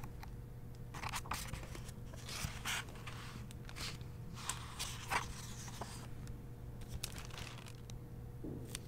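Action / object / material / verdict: scrape / hardcover book with clear plastic dust jacket / plastic film / none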